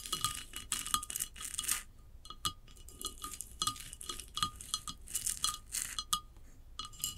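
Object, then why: Glazed ceramic vase. Long acrylic nails tap and scratch a large hollow ceramic vase lying on its side, with a glossy glazed upper half and a sandy textured unglazed band. Quick, bright clicking taps carry a short ringing tone near 1.2 kHz, mixed with hissy, scraping bursts of scratching. The sounds are quiet and rapid, and each tap dies away almost at once.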